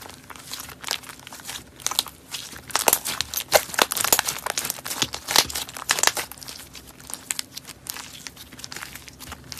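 Fingers stretch and fold a thick white fluffy slime with small pink flecks, making a steady run of crinkly air-pop crackles. The pops are bright and short, denser and louder in the middle of the clip, with little low end.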